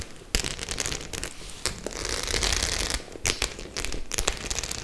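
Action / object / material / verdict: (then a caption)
scrape / faux-leather clutch bag with metal studs / faux leather / none. Long nails scratch across the rows of metal studs on a white faux-leather clutch bag. The result is a bright, crackly rasp broken by sharp clicking ticks, with a low rumble underneath and steady scratching between the sharper bursts.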